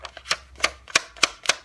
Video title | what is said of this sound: My Thoughts - Stillman & Birn | you can tell the difference between the sound